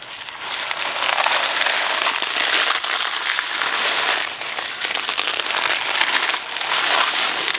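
A Kraft macaroni & cheese cardboard box full of dry pasta is held close by the fingertips and shaken. It gives a steady, bright rattling hiss that swells and dips in waves, with no low end.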